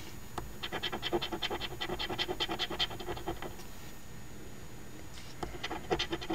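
The edge of a coin, held between finger and thumb, scratches the latex coating off the lower number spots of a flat, thin card OLG Ontario Lottery $2 Quest For Gold instant scratch ticket (#2445) held close by. Quick, uneven short strokes make a dry, bright rasp. The strokes stop for about a second and a half, then a few more follow.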